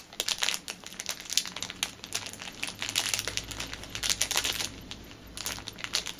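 A small clear plastic packet is crinkled on a table, then lifted and crinkled between fingers with long nails. Dense, bright crackling and rustling runs throughout in quick uneven bursts, with a faint low hum underneath.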